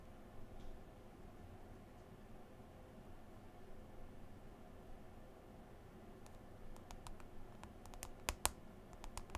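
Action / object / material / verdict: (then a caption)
tap / smartphone glass touchscreen / glass / none. Long green nails tap and swipe on the glass touchscreen of a smartphone in a white folio case, with the other hand resting on the case cover. After several seconds of quiet, low background hum, a run of sharp, bright clicking taps starts near the end, with two louder taps standing out.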